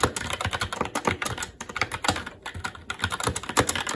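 Fingertips of both hands type continuously on a SteelSeries Apex 7 TKL mechanical keyboard with Red switches, black plastic keycaps on a metal plate and a hollow RGB-backlit case, resting on a desk. The result is a rapid, uneven stream of short, sharp clacks with a midrange body and a bright top edge, each one dying away almost instantly.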